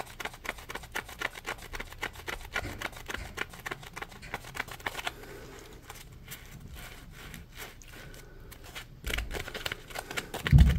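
Fingertips scratch and rub a palm-sized, solid yellow polymer foam Scrub Daddy sponge, producing rapid, dry scratching ticks over a low, soft rumble. Near the end the rubbing grows louder and thicker before a final heavier handling noise.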